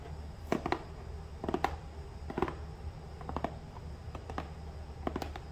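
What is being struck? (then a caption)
Small cardboard box. Fingertips and nails tap and scratch the sides and top of a small, hollow, upright brown cardboard shipping box resting on a countertop. The result is short, dry, hollow taps with a boxy midrange knock near 760 Hz, arriving in quick clusters. Faint scratchy rustle and a steady low hum sit underneath.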